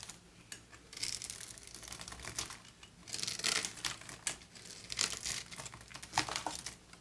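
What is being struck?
Bar of soap cut with a knife blade.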